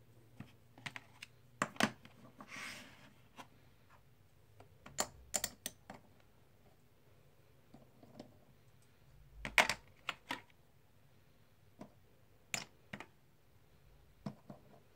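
Fingertips stack and click small, solid plastic/clay composite poker chips in a white tray. About 17 sharp, bright clicks ring out at irregular intervals over quiet background hiss, each dying away almost instantly. A brief soft sliding rustle comes near the start.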